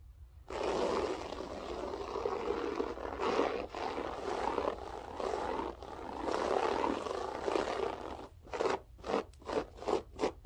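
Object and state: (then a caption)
Loop-pile carpet being scratched. Long nails rake and scratch across a grey loop-pile berber carpet floor with both hands, producing a continuous dry, rasping scrape for about eight seconds. It ends in a series of short, separate scratching strokes with brief gaps between them.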